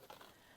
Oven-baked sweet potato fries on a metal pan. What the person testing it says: do you hear how crispy they've gotten